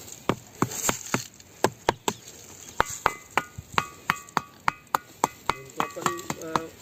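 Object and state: Metallic-ringing stone.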